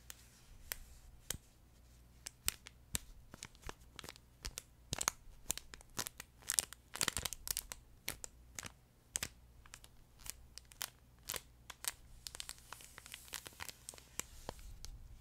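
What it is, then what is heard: Crinkle pet toy being scratched. Nails and fingertips scratch and stroke the crinkly fabric of a flat yellow plush duck pet toy held horizontally. Dozens of sharp, bright crinkles and crackles come in quick, irregular bursts over a quiet background. Each snap dies away almost instantly.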